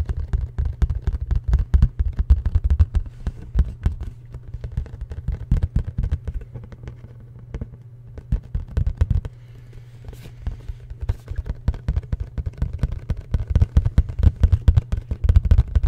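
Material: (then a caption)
Cardboard. Fingertips and nails tap quickly on a hollow black printed cardboard product box held near the mic. The taps are rapid, irregular and deep, hollow thuds with almost no ring. They thin out briefly in the middle before picking up again.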